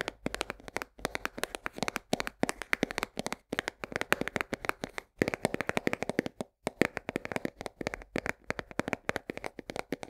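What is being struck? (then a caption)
Cardboard box of coarse salt. Long nails tap rapidly on the side of a full 1 kg cardboard box of coarse salt held at an angle. It makes a dense stream of short, dry clicks in quick bursts, separated by brief pauses. The taps sit mostly in the mids with some bright edge and die away instantly.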